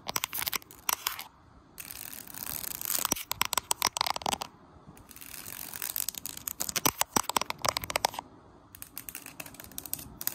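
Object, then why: Bamboo slat floor mat. Fingertips and nails tap and scratch across the slats of a large, solid, flat bamboo slat mat on the floor, with the camera sitting low on the mat. Rapid, dry clicks and raspy scratching bursts come in fast clusters separated by brief quiet gaps. The sound is bright and crisp, with almost no low end and no ring after each hit.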